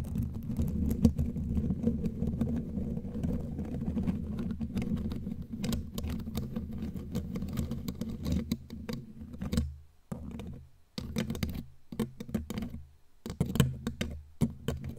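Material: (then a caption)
Metal mesh. Long glittery claw nails tap and scratch the bare black metal mesh grille of a studio microphone. The result is a dense, muffled, bass-heavy rustle of scraping and tapping that runs continuously for about nine seconds. It then breaks into short irregular bursts separated by brief silences.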